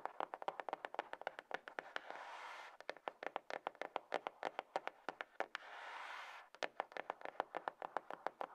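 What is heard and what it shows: Long fingernails rapidly tap a small, closed, hollow grey cardboard iPhone box resting on a table, working along its sides and lid in a stream of quick, dry, hollow clicks with no low end. Twice the tapping gives way to a brief, steady, breathy scratching of the nails across the cardboard before the crisp taps resume.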